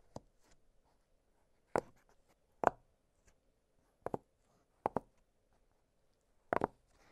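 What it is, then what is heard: Silicone pop-it fidget toy. A small octagonal blue silicone push-pop fidget toy has its hollow bubbles pressed and popped with fingertips. Short, dry, soft pops come at irregular intervals over quiet low hiss, several in quick pairs, each with a muted midrange tone and almost no ring.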